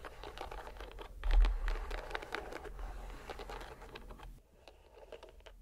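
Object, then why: Rubber stress ball in a net mesh. A green rubber stress ball inside a white net is squeezed in the hand, giving dense crinkly, scratchy crackles over a low rumble that swells to its loudest just before 1.5 seconds. The crackling continues steadily and drops to a quieter, sparser patter for the last second or so.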